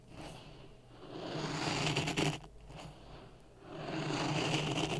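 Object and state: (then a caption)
Dry sand stirred in a plastic cup. A wooden stick stirs dry sand in a clear plastic cup resting on a red microphone. A continuous gritty scraping and hissing rises and falls in waves, with a low hum around 150 Hz and bright grainy texture on top.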